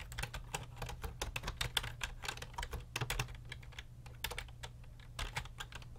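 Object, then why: Plastic computer keyboard. Fingertips type and tap continuously on the hollow keys of a full-size grey and black plastic computer keyboard resting on a desk. The result is a rapid, uneven stream of short, bright plastic clicks that stop almost instantly, over a steady low hum.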